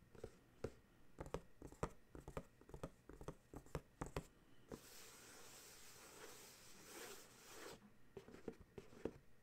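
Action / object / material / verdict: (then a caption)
tap / paperboard dryer sheets box / paperboard / none. A paperboard dryer sheets box is held in one hand while the other hand's fingertips and nails tap and scratch its printed top and edge. Quick, dry taps with very short decay run for about five seconds, then a steady, bright scratching texture lasts about three seconds before the sharp tapping returns.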